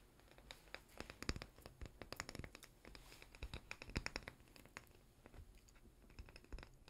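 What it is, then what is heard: Glass spread jar with plastic lid, scratched and tapped. A small, seemingly full glass chocolate-spread jar with a white plastic lid and a paper label is held in both hands and scratched and tapped with fingernails. Quick, dry clicks and scratchy rasps come in an irregular stream of brief transients with almost no ring. The sound is soft, with low thumps underneath and bright scratchy edges on top.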